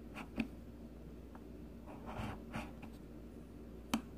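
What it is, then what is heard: Bar of soap being shaved. A palm-sized solid pink bar of soap is shaved repeatedly with the metal blade of a blue plastic peeler. Four short, quiet scraping strokes stand out over a low steady hum, each a brief, dry shave with a bright edge that stops almost at once.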